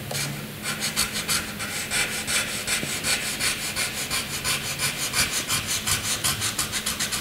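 A graphite pencil shades a flat white sheet of drawing paper in repeated dense strokes. Each stroke gives a bright, scratchy rasp, and the strokes follow one another in a quick, fairly steady back-and-forth rhythm. The result is continuous high-pitched scratching that swells and fades with each stroke.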